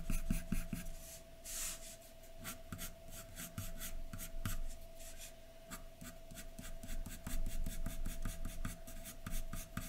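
The tip of a graphite pencil scratches a large white sheet of drawing paper lying flat, in short, fast hatching strokes over the hair area of a drawing. A quick, uneven run of dry, bright scratches comes through, with a faint steady hum underneath.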